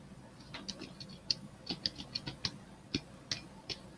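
A hollow, hand-sized pink, purple and green plastic toy ball is held in one hand and tapped and scratched with the fingertips and nails of the other. Thirteen short, dry, bright clicking taps sound at an uneven pace, with faint scratchy texture between them. Each tap dies away almost instantly.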